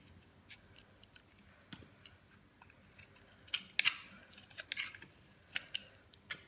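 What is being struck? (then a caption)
Bar of soap shaved with a blade. A metal blade shaves crumbly slices off a dry, solid cream-colored bar soap held in the palm. It makes a quiet series of short, crisp, bright scraping crackles and snaps, with a louder cluster of crunchy shaves in the middle. Each sound stops almost at once, with no low rumble.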